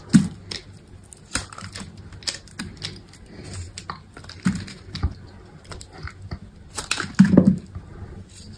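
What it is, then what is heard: Dry bar soap being carved. A metal utility knife blade scrapes curled shavings off a hand-held solid bar of dry white soap. The result is a run of short, dry, crisp scraping cuts with soft, low-bodied thuds, occasional bright clicks, and no ring between strokes.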